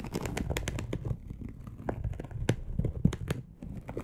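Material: Polyester mesh.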